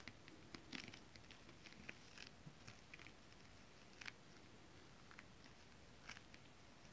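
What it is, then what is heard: Holographic scale-print fabric tapped with acrylic nails. Long decorated acrylic nails tap on flat holographic mermaid scale-print fabric. The result is a quiet, scattered series of short, dry ticks and crackles, bright around 2 kHz, with almost no ring. A faint steady hiss sits underneath.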